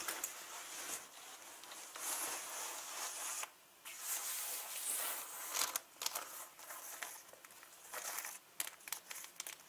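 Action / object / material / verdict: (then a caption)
scrape / leather handbag with metal hardware / leather / none. Long nails tap and scratch along the top of a turquoise leather handbag with gold rings and zippers, near the hardware. Bright, dry scratching and crinkly rustling mix with sharp, quick taps, with almost no low end and brief near-silent gaps between strokes.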